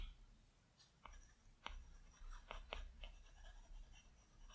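A plastic Apple Pencil tip makes short, scratchy strokes across the large, flat glass screen of an iPad Pro. The strokes come as separate soft ticks with bright, crisp edges and fade quickly over a quiet, low background hum.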